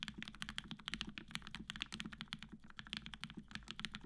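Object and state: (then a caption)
Mechanical keyboard with PBT keycaps and aluminum plate. A black-cased tenkeyless Matrix 8X V2.0 mechanical keyboard, with an aluminum plate, cream PBT keycaps, and 65g retooled black switches fitted with Gateron yellow springs, is typed on quickly and continuously with the fingertips of both hands. About 32 short, dry keystrokes click brightly with a peak near 3.3 kHz over a solid, low bottom-out thock, and each hit dies away almost at once.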